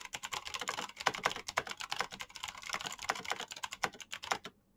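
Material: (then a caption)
Plastic. Fast fingertip typing by both hands on a black plastic backlit mechanical keyboard with clicky switches. A dense run of sharp, bright clicks fills most of the clip, then stops abruptly near the end, leaving brief silence.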